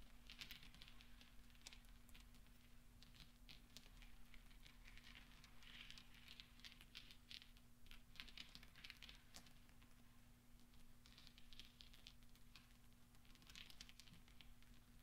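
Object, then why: Small steel balls. Fingertips roll and spread small solid steel pachinko balls across black velvet, making soft, bright clinking and pattering ticks. The quiet, continuous clicking comes in clustered bursts over a steady low hum, and each tick dies away almost instantly.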